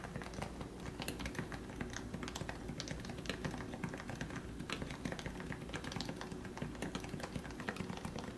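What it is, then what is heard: Topre keyboard typing. Both hands type steadily with their fingertips on a compact plastic Leopold FC660C Topre keyboard with lubed 45g switches. The result is a continuous stream of soft, muted, low-weighted keystrokes with brief bright taps, over a steady low hum.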